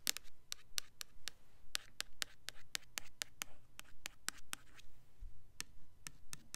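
Long fingernails scratch and tap the label and sides of a red Bath and Body Works Winter Candy Apple plastic foaming hand soap bottle, full of red liquid and held in the hands. A steady run of crisp, bright clicks and short scratches repeats about twice a second over a soft, low background hum, each sound stopping dead with no ring.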